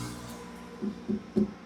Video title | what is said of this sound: From Rajasthan to Haryana - EP - 09 - Kerala to Kashmir - Puthettu Travel Vlog - | Das ist das Geräusch, das man hören sollte, wenn die Reifen in gutem Zustand sind.